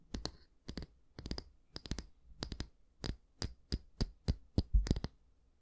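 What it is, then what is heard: Wooden bristle hair brush. Fingertips and nails scratch the dense natural bristles of a small oval wooden hair brush, making a run of short, crisp, bristly bursts in quick clusters. Each rasp is dry and bright with a soft low thump beneath it, over a faint steady low hum, and the bursts grow a little louder toward the end.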